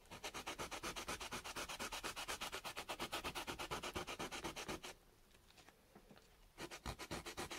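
A small, solid slice of raw carrot is held in the fingertips and rubbed quickly back and forth on sandpaper, leaving an orange smear. It makes a steady run of bright, gritty scraping strokes, pauses into near silence for about a second and a half, then starts up again.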